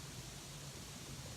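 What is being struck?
Nothing is struck.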